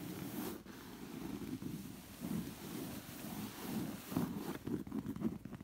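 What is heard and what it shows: Long nails scratch along the ribbed weave of a soft cushion's thick, woven zigzag-pattern textile cover. The result is a soft, rustling, raspy scratching, mostly low and muffled with little brightness. It runs in continuous strokes that grow louder and choppier toward the end.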